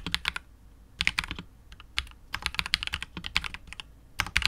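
A KBD67 Lite R2 65% mechanical keyboard with KTT Wine Red switches, PBT keycaps and a hollow, clear translucent polycarbonate case is typed on continuously with the fingertips of both hands. Quick bursts of sharp, bright clacks come in irregular runs separated by brief pauses, with each keystroke dying away almost instantly and little low-end weight.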